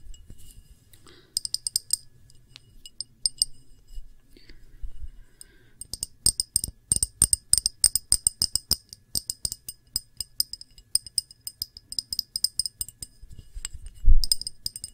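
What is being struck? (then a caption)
Small pressed-glass dish. A small, round, clear pressed-glass dish with a textured rim and glass bead feet, solid and empty, is held in both hands and tapped quickly with long manicured nails. The result is sharp, bright clicks with short, high glassy pings that fade fast, coming in scattered bursts and then a dense run of rapid taps over a faint low hum. A heavier, louder knock lands near the end.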